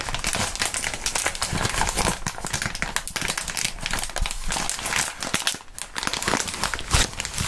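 Clear plastic bubble wrap is crumpled by gloved hands and lowered toward a cutting mat. A dense, continuous crinkling and crackling runs throughout at a steady level, bright and full-range, with a sharper louder crackle near the end.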